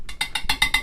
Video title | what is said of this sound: (Sold) HaylettRV.com - 2015 Springdale 266RL Used Rear Living Room Travel Trailer by Keystone RV | you can again hear the wedding ring test on that one